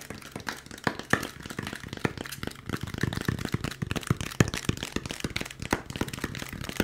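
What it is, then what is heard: Styrofoam packaging insert. Fingertips and nails tap quickly on a white molded polystyrene foam packaging insert with a cutout, held in the hands. The result is a rapid, uneven stream of short, dry, hollow thunks and light clicky ticks, with a low body and almost no ring after each tap.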